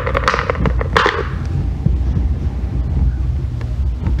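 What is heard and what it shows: A hand-held solid green bar of soap is scraped and shaved with a thin metal loop tool, curling off soap shavings. Short, crisp scraping strokes with brighter bursts come early, then settle into a softer, steady low rasp through the rest of the clip.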